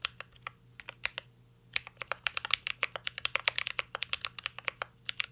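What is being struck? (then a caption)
Mechanical keyboard, plastic keycaps, aluminium case. Fingertips type continuously on a mint-green Cyberboard R3 mechanical keyboard with plastic keycaps and an aluminum case. About 35 sharp, bright keystroke clicks land in an uneven rhythm, each dying out almost instantly, over a faint steady low hum.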